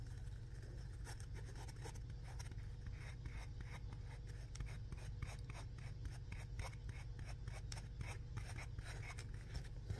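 A small, round, yellow polymer foam scrub sponge with a smiley face, solid and soft, is held in the hand and squeezed and rubbed by the fingertips. Quiet, scratchy rubbing and squeaking come in short repeated bursts over a low, steady hum.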